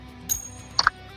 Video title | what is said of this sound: Hump Day Hangout - 5 | That was just me flipping it. It rings nice.